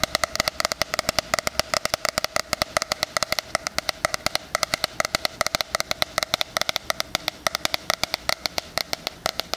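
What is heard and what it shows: A 'Life is Beautiful' 2020 spiral-bound hardcover planner with a cardboard cover is held upright while fingernails tap and scratch its front cover. Dozens of quick, dry clicks follow one another in steady bursts, each bright with almost no low end and dying away at once, with a hollow tone near 630 Hz.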